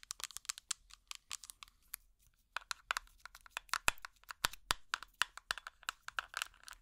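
A small plastic tub with an orange lid is tapped on its lid and sides with plastic finger picks, giving about 36 quick, dry, bright clicks. The taps come in uneven flurries with brief pauses and die away almost instantly. Some strikes are louder and sharper than others.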